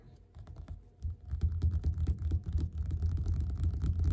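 Fingerpads of both hands tap fast on the glossy printed cover of a closed, solid yellow paperback book lying flat on a table. The rapid, irregular taps are low, dull thuds with almost no ring, starting soft and growing steadily louder and denser after the first second.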